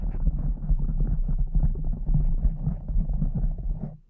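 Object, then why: Foam microphone windscreen scratched and tapped with long nails. Long acrylic nails scratch and tap over a soft, porous pink foam windscreen on a microphone. The result is a dense, muffled, low rumbling rustle with quick soft thumps and almost no high end, fading out at the very end.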